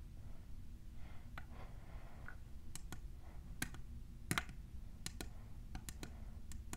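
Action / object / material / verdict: tap / plastic tumbler cup / plastic / none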